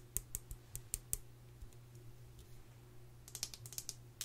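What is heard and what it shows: Long nails tap 13 times on the frame of an open gold metal tin face palette with powder pans, held in hand. Each tap is a sharp, bright click that dies away almost at once, with a quick run of six taps, a long pause, then a second burst of taps. A quiet steady low hum runs underneath throughout.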